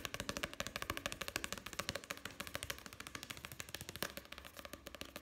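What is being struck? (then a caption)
Paperback book with paper pages. Fingertips tap and scratch fast on the printed pages and page block of an open paperback book with solid paper pages. About fifty quick, dry, uneven taps run back to back, crisp and bright with little low end and almost no ring. Soft scratchy brushing sits between the taps, all at a quiet level.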